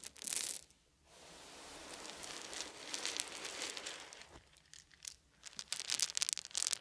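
Cupped hands gather small solid wooden beads and pour them onto a fluffy blanket. A short bright burst of clicking rattle is followed by a brief hush, then a long, soft, steady pour and rustle. The clip ends with denser, crisp high clicks as the beads tumble together.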